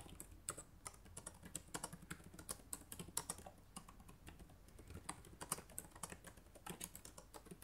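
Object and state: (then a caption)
Plastic laptop keyboard. Fast typing with fingertips and nails on the plastic keycaps of a black laptop keyboard gives a steady run of quick, crisp clicks. Each tap is short and bright, with almost no ring, over a faint low hum underneath, at a quiet overall level.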